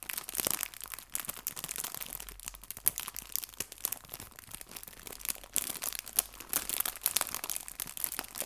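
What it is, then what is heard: Thin plastic bag of fabric leaves, crinkled. A small, clear, thin plastic bag full of fake fabric maple leaves is crinkled and pinched with fingertips and painted nails. It makes a dense, continuous stream of bright, crisp crackles and rustles with almost no low end. The fast, dry snaps stop instantly, with no ring after them.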